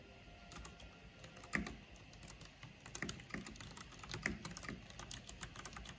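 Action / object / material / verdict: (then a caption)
tap / plastic mechanical computer keyboard / plastic / none. Long painted fingernails and fingertips rapidly tap on a full-size black plastic mechanical computer keyboard with a hollow housing and purple backlight. A dense stream of quick, bright, clacky key clicks with short, dry decays is heard, with a few louder strikes standing out over a steady low background.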